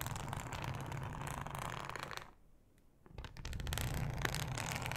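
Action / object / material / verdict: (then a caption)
scrape / thin ribbed plastic cutting mat / plastic / none. Long acrylic nails scratch with both hands across a thin, flat, solid yellow ribbed plastic cutting mat. The result is a dense, rapid, raspy scratching with a low rumble underneath, which briefly fades to near silence midway before resuming slightly louder.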